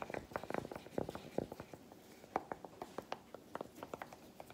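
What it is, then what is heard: Milk chocolate bar tapped. A solid milk chocolate bar resting on a palm is tapped and scratched with a broken-off piece of chocolate. The result is a quiet, irregular run of short, dry clicks and soft scraping, with sharp taps centred in the mid range around 750 Hz and almost no ring.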